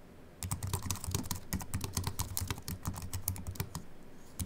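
A compact Apple keyboard with a silver aluminium body and white plastic keys, resting on a wooden desk, is typed on with the fingertips of both hands. A quick, steady run of keystrokes begins after a brief quiet start; each is a short, dry click with a bright tick over a low thump that dies away almost at once. The typing eases briefly near the end before a final few keystrokes.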